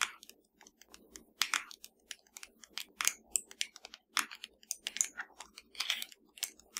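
Long dark nails of both hands tap a slim, hollow black plastic Fire TV remote lying flat. The result is a quick, irregular run of dry, bright, clicky taps that stop dead with no ring and have almost no low end.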